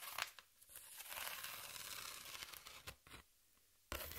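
Long nails scratch across the exposed ridges of a flat corrugated cardboard sheet held horizontally, producing a bright, raspy, papery scraping. A few short strokes lead into a sustained scrape, then a near-silent pause before the scratching resumes at the end.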